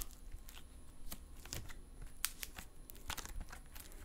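A crumpled lump of silver metallic stress putty is held in both hands while the fingertips pinch, fold and stretch it. It makes a steady run of sharp, dry clicks and pops with a crinkly, tearing texture. Each snap stops almost at once over a soft, low rumble.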